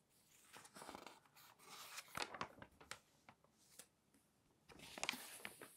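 Fingertips turn and smooth the pages of a thick, open glossy paper magazine. Soft, bright papery rustles and crinkles swell and fade, broken by sharp crisp snaps as pages flip. A quiet, close sound with little low end.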